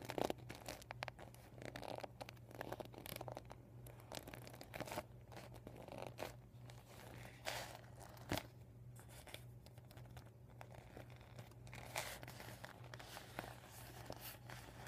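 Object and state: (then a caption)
Deflated vinyl beach ball. Painted nails scratch and fingers crinkle the red and white vinyl panels of a deflated beach ball. The result is a quiet, continuous run of crisp crinkles and scratchy bright bursts over a steady low hum, with a few sharper crackles standing out.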